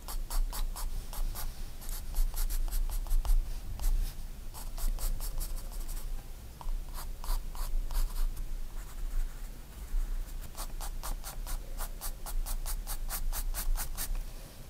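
A graphite pencil draws fine strokes on a page of a spiral-bound paper sketchbook. Quick, short scratching strokes with bright, papery texture come in bursts with brief pauses, over a low steady rumble.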